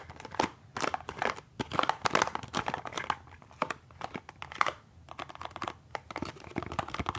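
A small, hollow, printed cardboard box for peppermint toothpaste is held in one hand and tapped and scratched along its sides and face with the fingertips and short nails of the other hand. Quick, dry taps and crinkly scratching bursts come in uneven clusters, each sound stopping short with no ring and a papery, mid-to-bright texture.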